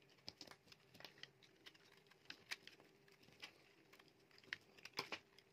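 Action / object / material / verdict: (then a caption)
scrape / bar of soap / soap / none. A solid, dry, palm-sized yellow bar soap is carved with a metal utility knife blade, and then the leftover piece is crumbled by the fingers. The result is a quiet run of short, bright scraping and crinkling clicks with a faint steady hum underneath.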